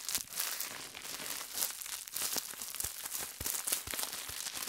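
A small rolled piece of clear plastic bubble wrap is held in the hands and twisted and squeezed with the fingers. Bright, dense crinkling runs throughout, broken by sharp, short pops as the bubbles burst.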